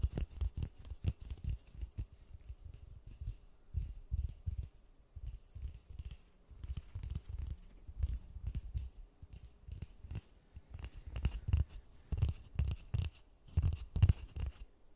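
Gloved fingertips tap and scratch a large white polystyrene foam ball held in white-gloved hands. Soft, dull, low thuds come in quick irregular bursts with faint scratchy rustling between them. Each tap dies away almost instantly with no ring.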